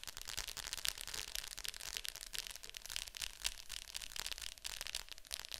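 Long nails tap quickly on the glossy lid of a hollow plastic Fantasia VHS clamshell case lying flat. The taps are soft, bright and clicky, with almost no ring, landing in a dense, uneven patter that keeps a high, crisp hiss throughout.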